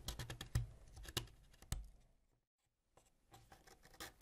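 A solid purple wax crayon, held by fingertips, is scraped with a white ceramic knife blade, leaving wax shavings around it. Quick, irregular scratchy scrapes with short bright edges and a low body come in bursts, then pause in near silence before another run of softer, faster scraping resumes.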